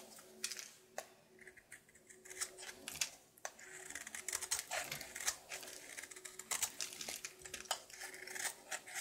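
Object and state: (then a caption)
Soap bar being carved. A knife scrapes and carves the top surface of a solid, red-coated soap bar held in the palm. It makes a rapid series of dry, crisp, bright scrapes and clicks. Each one cuts off almost instantly with no ring.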